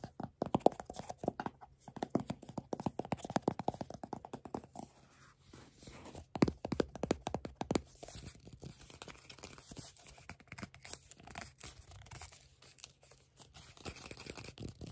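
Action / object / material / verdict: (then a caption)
tap / paperboard tube canister / cardboard / none. Fingertips and nails tap the lid of a hollow, hand-sized paper-board tube canister that holds mushroom chocolate, then scratch and grip its label. Dense, rapid, dry taps with a hollow mid-range knock fill the first five seconds, followed by a louder burst of tapping around six to eight seconds. The clip ends with softer, steady scratching and rubbing.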